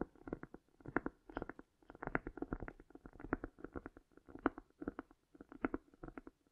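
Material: Cork.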